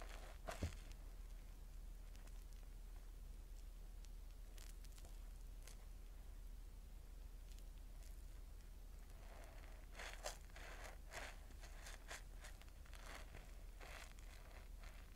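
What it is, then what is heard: Soapy cellulose sponge. A soaked, foam-laden yellow cellulose sponge is pressed, folded and rubbed by hands over a steel bowl of suds. Quiet, wet squishing and crackling foam rustles come in irregular bursts, with brighter crackles clustered toward the end over a steady low hum.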